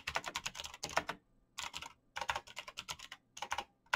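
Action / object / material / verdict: tap / plastic mechanical keyboard / plastic / none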